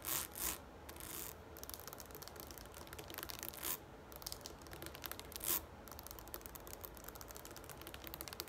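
Long nails scratch and rub along the ridged side of a tall, green, hollow plastic shampoo bottle standing upright. The result is a quiet, dense, bright scratching texture with short, dry rasps, and louder bursts near the start, middle and later in the clip.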